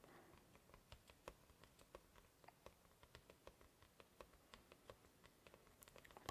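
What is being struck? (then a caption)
Thin cardboard backing board. A thin, flat, solid sheet of white cardboard comic backing board is held in both hands while fingertips and nails tap on its edge and face in a quick, typing-like rhythm. About 22 quiet, dry clicks and taps stop almost instantly, each with a hollow mid-range tone over a faint hiss.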